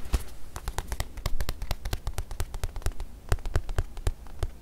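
Long nails tap and scratch on a small, stuffed white leather watch pillow with a curved slot, held close to the mic. A quick, uneven run of short, dull, low-heavy taps dies away almost instantly, with faint scratchy rustling between them.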